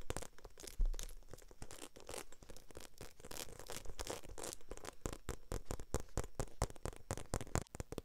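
Long nails rapidly tap and scratch the embossed surface of a small black glossy croc-embossed faux leather shoulder bag held in both hands. The result is a dense, steady stream of crisp clicks and scratchy rasps, with occasional sharper, louder taps standing out.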